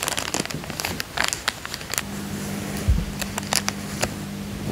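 A thin, clear, empty plastic coin bag is folded into a triangle and crinkled with the fingertips on a fabric couch. It gives a run of sharp, bright crackles and crinkles, with a steady low hum coming in partway through.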